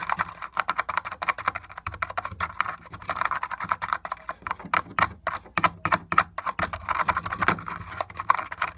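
A fingertip and nail tap and pick at the splintered crack of a broken wooden board, a panel marked with marker lines. Dozens of quick, dry, clicky taps and scratches come in a fast, uneven stream. They are mostly midrange with little low end and no ring after each hit.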